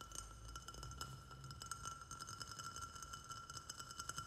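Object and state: Glazed ceramic plant pot.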